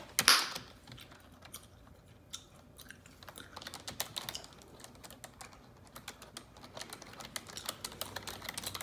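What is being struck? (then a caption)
Plastic computer keyboard keys. Long neon-yellow nails type on the keys of a black plastic computer keyboard. A loud bright clack opens the clip, followed by scattered, then quicker, light clicking taps with a crisp, high edge and almost no low end.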